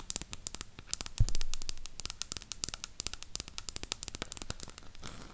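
Long pink acrylic nails tap and scratch the printed back side of a burgundy cardboard eyeshadow palette. The result is a rapid, dense run of sharp, bright clicks with rough scratching in between. One heavier thump stands out near the middle, and a soft rustling scrape comes at the end.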